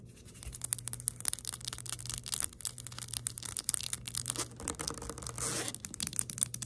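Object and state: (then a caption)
Glass perfume bottle. Long nails tap and scratch fast on a round pink glass perfume bottle with a plastic cap, partly full, held close to the microphone. Quick, bright clicks come in a rapid, uneven stream over a steady low hum, with a louder rasping scrape near the end.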